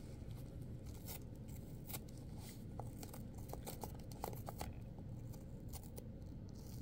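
Long pointed acrylic nails scrape and tear crisp flesh from a red apple whose top has been torn open, with small chunks falling onto a paper towel. Scattered sharp, bright crackles and snaps of tearing flesh rise over a steady low, muffled rumble, with the tearing sounds quick and dry.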